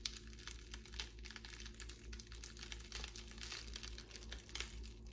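A clear plastic bubble wrap strip, held in both hands, is squeezed, crinkled and popped with long pink nails. Dense, quiet crackling and sharp little pops run throughout. A steady low hum sits underneath.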